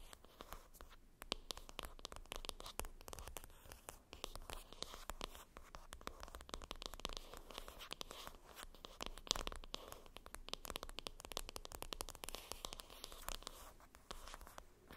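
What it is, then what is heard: Cardboard makeup palette box. Long acrylic nails scratch back and forth across the top of a flat, hollow, rectangular printed cardboard makeup palette box lying flat, and tap on it as well. The result is a dense, continuous run of dry, crackly scratching with quick, close-spaced taps that have no ring.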